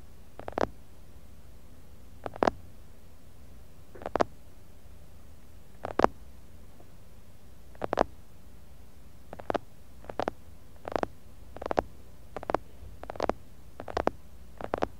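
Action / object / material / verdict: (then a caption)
tap / glass jar full of kinetic sand / glass / none. Fingertips and nails of both hands tap and rub the outside wall of a medium clear glass jar full of kinetic sand, picked up by a mini mic buried inside the sand. Short, muffled bursts of dull, low-mid thumps with a soft scratchy edge repeat every second or two, coming faster toward the end. Each burst dies away almost at once into a quiet hush.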